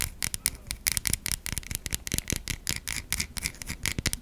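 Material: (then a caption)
Soap. Long nails rapidly scratch across the stamped surface of a white solid bar of soap. The result is a dense run of short, dry, bright scratching strokes with crackly high hiss and a soft low thump under each stroke.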